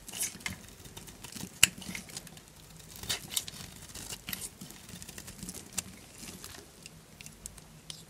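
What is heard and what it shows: A solid lilac Duru bar of dry soap, held in the hand, is scraped and cut with a small purple-handled knife. The result is a quiet, crunchy, scratchy rasp of bright, high crackles and short snaps scattered throughout. One sharper snap stands out near the middle.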